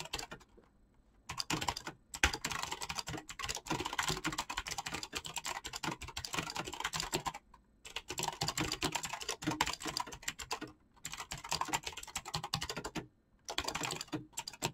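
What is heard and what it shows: A black mechanical keyboard with clicky switches and PBT plastic keycaps is typed on quickly with the fingertips and short nails. It produces dense, bright bursts of rapid clicky keystrokes, with short pauses near 1, 2, 7.5, 11 and 13 seconds.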